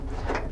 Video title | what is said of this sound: Classic VW BuGs How to Install Volks Multi-Piece Beetle Headliner Pt.2 of 6 | if you knock on it, it doesn't have that tinny sound. It's got a nice thunk to it. So it's a good deadener.